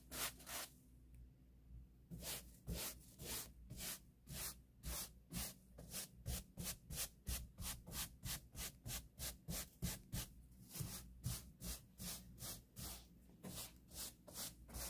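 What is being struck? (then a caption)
Woven-fabric upholstered sofa cushion. A white plastic-bristle hand brush is swept in quick, repeated strokes over a soft, padded grey woven-fabric sofa cushion and back. About 25 bright, scratchy rubbing swishes come after a short pause near the start, over a steady low hum.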